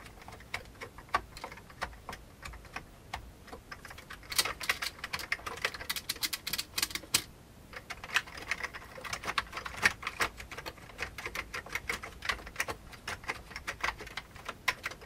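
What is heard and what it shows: Fast typing with the fingertips of both hands on an old beige full-size plastic keyboard with hollow keycaps. It produces a dense stream of bright, hollow plastic key taps that stop almost instantly, with very little low end. Bursts of quicker, louder taps come around the middle, and there is a brief lull just past halfway.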